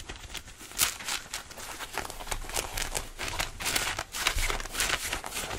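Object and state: Denim jeans being scratched.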